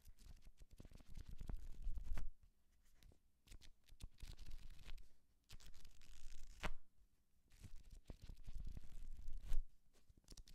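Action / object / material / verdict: scrape / paperback book with paper pages / paper / none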